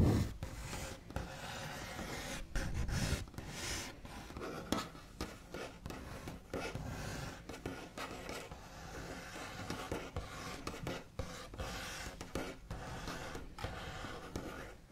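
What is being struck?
Wooden tabletop.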